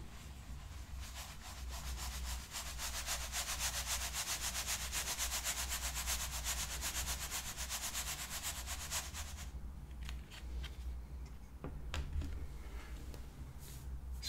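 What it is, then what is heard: Sand shaken in a wooden tray. Fine white sand slides and spreads across a shallow square light wooden, bamboo-look tray as both hands tilt and shake it to level the sand into an even layer. A dense, bright, rapidly pulsing hiss of shifting grains runs for about nine seconds, then thins into softer rustles with scattered sharp ticks, all over a steady low hum.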